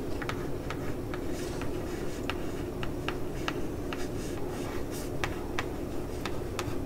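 Long polished nails tap and scratch the lid of a medium-sized, hollow, printed Facetory cardboard subscription box. Quick, irregular clicky taps with bright, scratchy edges sit over a steady low hum.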